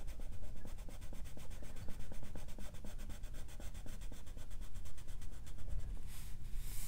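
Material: Paper.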